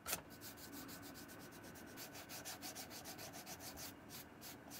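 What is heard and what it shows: A wooden-handled bristle brush scrubs and rubs the leather sides of a hollow brown leather shoe with a slotted side and a brass buckle, held in hand. A brief sharp knock at the start gives way to a quiet, steady run of rapid, bright, hissy brushing strokes, with a faint tone running underneath.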